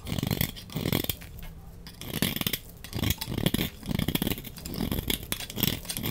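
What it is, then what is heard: Bar of soap scraped with a blade. A utility knife blade scrapes curled shavings off the face of a large, solid, dry, red-orange rectangular soap bar held in the hand. Repeated raspy scraping strokes come in short bursts, each with a dense crackle that is weighted low but edged with bright, crisp detail.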